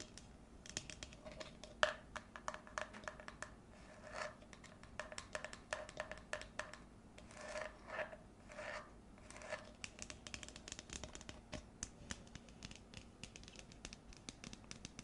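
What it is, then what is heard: Plastic cup. Long nails tap and scratch the sides of an empty, frosted pale green plastic tumbler as it is held and tilted. Quick, bright clicks with a faint hollow ring near 610 Hz are heard throughout. Longer scratching swells come around 4 seconds and again between about 7.5 and 9.5 seconds.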